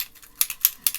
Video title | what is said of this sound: Halloween Pop up box take 2 testing from laptop | shake it until I hear the jingle jingle